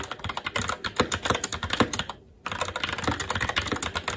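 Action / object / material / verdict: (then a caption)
tap / mechanical keyboard, plastic keycaps on metal plate / plastic / none. Fast, continuous typing with both hands' fingertips on a SteelSeries Apex 7 TKL mechanical keyboard with plastic keycaps on a metal top plate and Red linear switches. Dense, bright plastic clacks with short, dry decays run steadily, broken only by a brief pause just after two seconds before the typing resumes.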